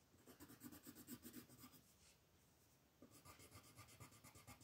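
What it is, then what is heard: Colored pencil shading on a paper sheet. A pink wooden colored pencil rubs and scratches across a flat white paper mandala coloring sheet lying on a table, shading in steady strokes. Quick, soft scratchy strokes with a papery hiss come in a fast rhythm, pause briefly near the middle, then resume.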